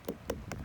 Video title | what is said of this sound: Crimson Sweet Watermelon Ripening Signs! Harvest! 2018 | When I knock on it, it vibrates.